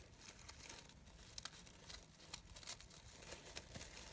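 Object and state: Organza fabric rose.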